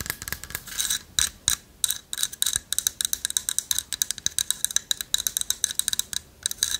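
A light wooden carved owl figurine with a hollow lattice body is held in one hand and scratched and tapped with long nails. It makes a rapid run of dry, bright clicks and scratchy ticks with almost no low end and no ring after each hit.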